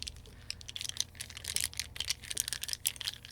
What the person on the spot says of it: Almost sounds like plastic, but it's wax, right?